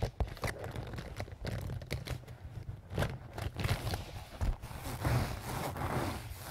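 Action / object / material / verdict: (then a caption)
scrape / soft canvas zip pouch / canvas / none. A small, soft-sided pink-and-white leaf-print canvas zip pouch, apparently filled, is scratched and squeezed with fingernails and fingertips. The result is an irregular run of soft, muffled scratching, rustling and crinkling with short scrapes, sitting mostly in the low range and carrying little bright detail.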